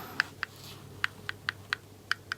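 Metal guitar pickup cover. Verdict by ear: Hollow.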